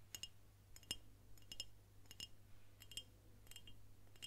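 A dark glass swing-top beer bottle with a paper label, apparently empty, is tapped with long nails on the glass and the cap. It gives quick, irregular bright clinks with a clear ringing tone and very short decay, over a steady low hum.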